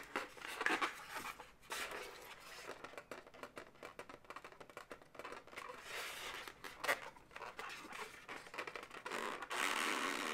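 An inflated, hollow light pink latex balloon dog is scratched and tapped with long nails. The result is a dense run of bright, squeaky rubbing and scratching with quick taps, plus a few louder rubbery squeaks near the start, middle and end.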